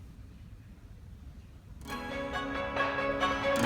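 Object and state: Nothing is struck.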